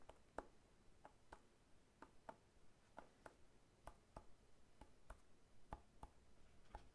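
A whole fresh pineapple, solid with a hard scaly rind, is held on its side and tapped repeatedly with the fingertips. Each tap is a quiet, short, dry tick with a hollow midrange knock and almost no ring. The taps come in a steady, roughly even series over a soft, low background noise.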